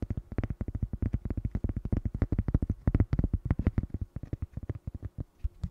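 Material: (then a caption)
Cork. A small, flat, solid square cork coaster is held and turned while fingernails tap and scratch across its face and edge. The result is a rapid, uneven run of soft, dull, low thuds with very little ring and almost no bright content.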